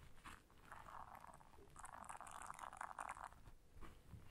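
Long nails scratch the bristles of a flat, solid blue silicone bristle scrubber pad while the hands bend it. The result is quiet, dry, crunchy rasping in uneven bursts, centred in the mid range with some high hiss, swelling louder through the middle and then fading.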